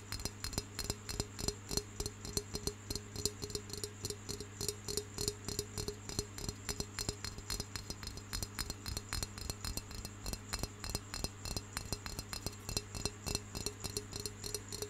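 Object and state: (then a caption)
Clay pencil holder. Fingertips and nails tap and scratch the surface of a round, hollow, brown terracotta clay pencil holder with a painted dragonfly design and small holes, held in one hand. Rapid, irregular, dry clicks and light scratches follow one another with almost no ring, over a steady low hum and faint high tones.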